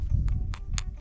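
A clear gypsum crystal is knocked repeatedly, giving short, bright, glassy clinks over a steady low rumble. Though its clinking sounds unlike gypsum, a fingernail scratch chips it, confirming it is gypsum.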